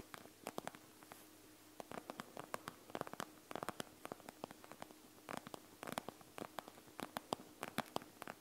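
Long nails rapidly tap and scratch across the bead area of a panda gel bead eye mask, a plastic shell filled with gel beads. The result is quick, dry, crisp clicks and ticks in uneven bursts over a quiet background with a faint steady low hum.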